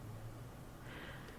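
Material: Nothing is struck.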